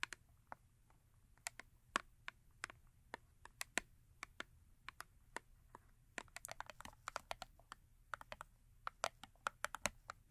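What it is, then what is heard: Cardboard soap box. Long acrylic nails tap rapidly on the face and top of a small cardboard Yardley soap box that is full with a bar of soap. The result is an uneven stream of sharp, dry, bright clicks with no ring, centered around 1.8 kHz, growing denser in the second half over a faint low hum.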